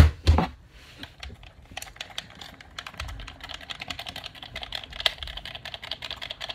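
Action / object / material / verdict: tap / plastic game controller / plastic / none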